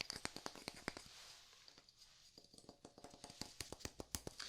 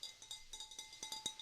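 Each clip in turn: First: wooden block. Second: glass vase.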